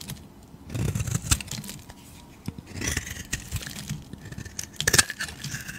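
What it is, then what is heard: Bar of soap being carved. A knife and a blade cutter carve and peel curled slices off a hand-sized solid bar of green soap with a gold edge, held in the hand. Crisp scraping and shaving bursts with a bright, high crackle and soft low thumps come in uneven clusters, separated by quiet pauses.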